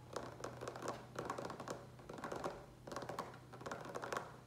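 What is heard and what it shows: Fingertips tap quickly on the sides of a large, hollow green plastic pitcher with a lid, which appears to be filled with water. Bursts of short, dry taps carry a faint hollow tone around 1 kHz over a steady low hum.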